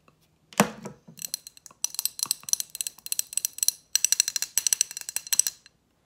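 A large lit candle in a thick glass jar with a metal band at the base and solid wax inside is held in the hands and tapped and scratched with long acrylic nails. After a duller opening knock, quick bursts of sharp, bright clicks and ticks follow one another with short pauses between them, each dying away almost instantly.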